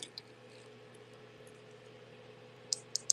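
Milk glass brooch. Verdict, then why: Real. A milk glass brooch is tapped to check whether it sounds like glass, giving five short, bright, high-pitched clicks: two faint ones at the start and three sharper, louder ones at the end over a steady low hum. The clicks ring like glass, confirming the brooch is definitely glass and intact, with nothing missing.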